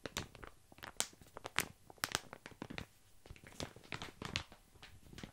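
A medium-size yellow padded paper shipping envelope with a bubble/padded lining and a printed label, hollow and apparently empty, is held in both hands close to the mic and squeezed and crinkled with the fingers. A quiet, steady run of dry crinkles and sharp, bright crackles sounds, with short snapping peaks over a faint rustling bed.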